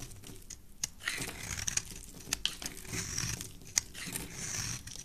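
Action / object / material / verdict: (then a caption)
scrape / soap bar scraped with a knife blade / soap / none. A solid rectangular red soap bar, held in the hand, is scraped and cut into flakes with a black utility knife blade. A steady, bright, crinkly scraping rasps along with soft low rustling, broken by several sharp, short clicks where the blade bites into the soap.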